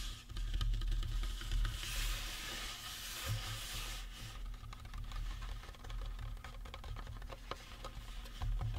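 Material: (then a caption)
Resin. Fingertips and nails scratch and tap the cranium and cheekbones of a life-size painted resin or plastic Halloween prop skull. Quick, irregular light taps mix with bright, hissy scratching that swells from about two to four seconds. A steady low hum runs underneath throughout.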